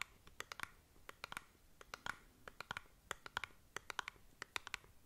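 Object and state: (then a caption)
Cardboard cosmetic box scratched with nails. Long nails scratch the faces and edges of a small, hollow cardboard cosmetic box held beside the mic. About 26 short, dry, bright scratching clicks come in quick irregular bursts, centered around 1.5 kHz. The taps stop almost instantly with no ring, over a quiet background.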